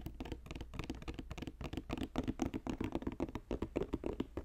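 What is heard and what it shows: Fingertips tap quickly on a woven basket, producing a dense patter of soft, short, dry taps in an uneven rhythm with a low-mid body and little ring.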